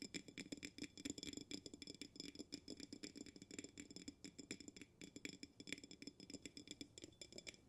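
A glass jar with a bamboo lid is held upside down, lid at the bottom, while fingernails tap quickly and steadily on its glass walls. Each tap is a short, bright click with a high glassy ring and a mid tone around 277 Hz, and the taps run in an uneven stream of soft and louder hits throughout.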